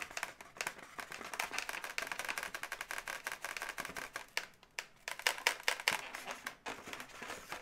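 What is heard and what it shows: Long nails tap and scratch the leg segments of a pink inflated latex twisting-balloon animal resting on a table, while hands squeeze it slightly. The result is a dense, irregular run of short, bright clicks and scratchy rubs centered around 2 kHz, with little low end. A few sharper, louder taps stand out toward the end.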